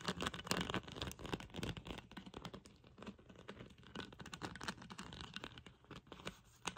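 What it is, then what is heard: Plastic bottle cap tapped and scratched. Long pink nails tap and scratch the black plastic screw cap and neck of a hollow Chi Forest sparkling water bottle holding liquid. Quick, irregular, dry clicks run together with bright, scratchy rasps, with a faint low hollow thump beneath. The tapping is busiest at the start and eases to softer scratching toward the end.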